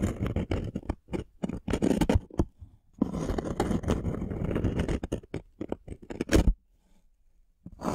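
Thumbnails scratch the surface of a thin, solid, light-wood plank held upright, making dense bursts of dry, low-heavy scraping. Long continuous scratching stretches alternate with quick separate strokes, then the clip goes quiet near the end before scratching resumes.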